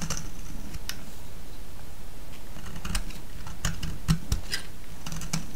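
A solid orange soap bar held in hand is shaved with a metal blade, and curls break off with a series of crisp, bright clicks and scraping ticks. A steady low hum runs underneath throughout.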